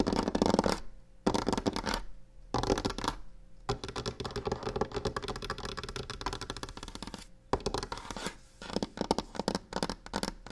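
Long painted nails rapidly tap and scratch a solid varnished wooden table top, while a box sits untouched nearby. Dense, dry scratching and quick tapping come in bursts separated by brief silent pauses, each sound dying away almost instantly.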